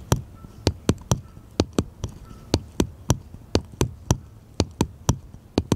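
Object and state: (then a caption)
Wooden paddle tapped with fingertips. A small, solid, unfinished light wooden paddle-shaped piece is held upright in one hand and tapped with the fingertips of the other. Eighteen short, dry knocks land in an uneven rhythm. Each has a low, hollow body and a quick bright click, and dies away almost instantly.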